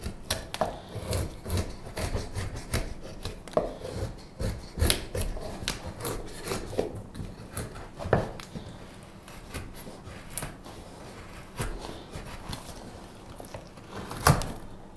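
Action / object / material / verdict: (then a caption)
scrape / wooden spoon blank / wood / none. The handle of a solid light-wood spoon blank is whittled with a straight steel carving knife in short cutting strokes. Each stroke gives a brief, dry scraping cut with a bright edge over a low woody body, repeating unevenly in a steady stream of quick shavings.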